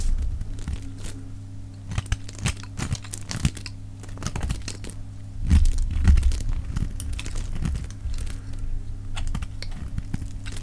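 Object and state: Dry soap bar shaved with a blade.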